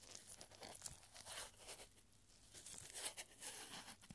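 A small scroll made from a narrow strip of thin, light, yellowed paper reading "Yes" is stretched open between gloved fingertips and then rolled back up. It makes quiet, bright crinkling and rolling sounds with short, crisp crackles and brief soft tearing-like rustles.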